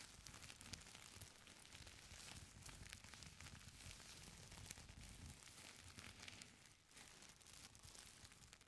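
Flat hands and long nails rub and scratch the surface of a folded stack of thin purple tissue paper, producing soft, continuous crinkles. The quiet rustling is full of bright, crackly detail over a steady low rumble, easing briefly near the end before picking back up.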